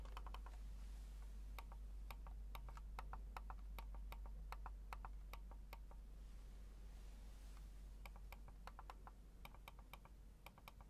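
A small black plastic wireless mouse is held in the hands while the fingertips click its buttons and roll its scroll wheel. Quick, sharp, bright clicks come in irregular bursts, with a pause in the middle, over a steady low hum.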